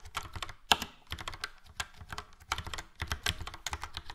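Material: Plastic.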